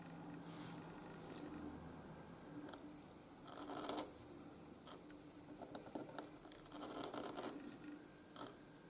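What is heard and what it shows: A steel dip-pen nib in a wooden holder scratches across a flat white gridded paper sheet while writing cursive strokes. Soft, dry scratching comes in irregular bursts with brief bright ticks, over a faint steady low hum.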